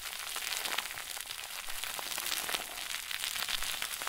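A round white plastic bag stuffed into a crinkle ball is squeezed and crumpled with both hands. It makes a steady, dense crackle of bright, high rustling with almost no low end. The crinkling runs continuously without pauses for the whole clip.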